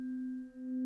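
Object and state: Nothing is struck.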